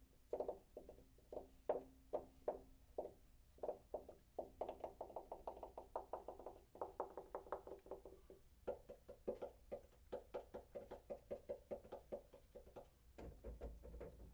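A water heater tank is tapped lightly and repeatedly with quick, short knocks. Each tap gives a hollow, mid-pitched metallic ping that dies away fast, starting slow and evenly spaced, then turning into faster rolling runs. A low rumble joins in near the end.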